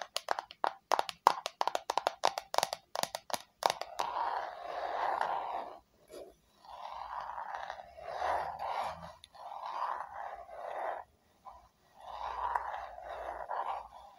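Long fingernails tap a small square red matte plastic box in a quick run of light, sharp clicks for about four seconds. The sound then turns to longer, soft scratchy strokes in several bursts separated by brief pauses.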